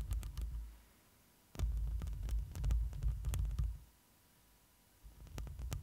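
Long glossy nails scratch the woven metal mesh grille of a black microphone up close. The result is deep, rumbling low-end bursts with sharp bright ticks, broken by two near-silent pauses.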